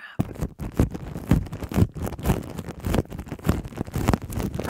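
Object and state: Plastic cling wrap over a microphone, scratched.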